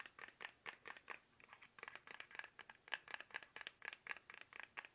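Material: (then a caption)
Soft plastic. Fingertips tap fast on a small, soft, hollow plastic toothpaste tube held upright in both hands. A rapid, uneven run of short, crisp plastic clicks and ticks sounds with a bright, papery edge around 1.7 kHz and almost no low end. Each tap dies away almost instantly.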